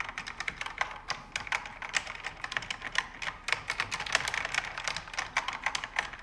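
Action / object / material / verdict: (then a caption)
tap / mechanical keyboard, plastic keycaps on aluminium panel / plastic / none. Fingertips and nails type on a pink backlit mechanical keyboard with plastic keycaps on an aluminum panel, in the dark. A fast, uneven run of sharp, bright plastic clacks sounds, each dying out almost instantly, with almost no low-end thump.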